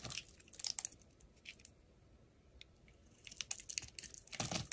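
A hand-sized, solid blue oval bar of soap is held in the hand while a steel utility-knife blade scrapes thin curls off its surface. Bright, dry scratching and crisp shaving strokes come in bursts, with a quiet pause in the middle before the scraping picks up again.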